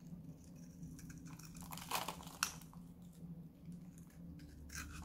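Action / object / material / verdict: scrape / bar soap / soap / none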